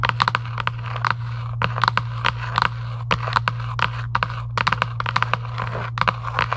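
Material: Cardboard.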